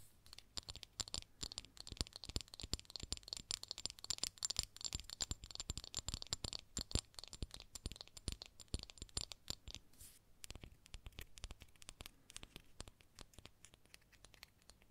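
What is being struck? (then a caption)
Small frosted glass perfume bottle with wooden cap. Long acrylic nails tap and scratch the frosted surface of a small, hollow, rectangular frosted glass perfume bottle with a wooden cap, held in one hand. The result is a dense stream of quick, sharp clicks and scratchy rasps, bright in the highs, with a brief pause near the ten-second mark before the tapping resumes more softly.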